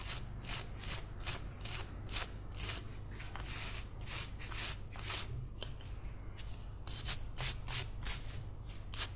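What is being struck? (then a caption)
Small carved wooden figurine. A palm-sized, solid, carved wooden cat figurine held in one hand is brushed and scrubbed with a green toothbrush. Quick, dry, bright bristle strokes repeat steadily over a low steady hum.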